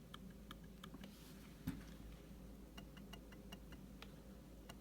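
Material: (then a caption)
Glass. The trackpad of a 2016 MacBook Pro 15-inch with Touch Bar is clicked repeatedly, giving short, faint, hollow, mushy clicks over a steady low hum, with one louder thud partway through. The click sounds and feels wrong, reminiscent of an older MacBook Air rather than a solid click.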